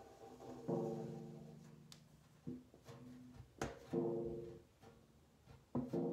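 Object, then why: Large round metal tin lid. Fingertips and long nails rapidly drum and tap on the printed lid top of a large, round, hollow Harry London metal cookie tin. About five resonant, drum-like hits ring out with a low tonal hum near 340 Hz. Each fades over roughly half a second beneath lighter, quieter taps.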